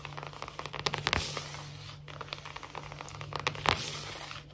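Long natural fingernails on both hands quickly scratch and tap a large, solid, glossy wood-look laminate floor. The result is a dense run of dry, bright, crackly scrapes and short clicking taps with no ring. A faint steady low hum sits underneath.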